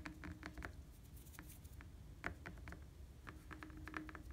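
Fingertips and nails tap a rapid, uneven patter on the red-painted hollow steel tubes of a bicycle frame. Each tap is a short, quiet tick with a faint metallic ping around 1.4 kHz that dies almost instantly, over a steady low rumble.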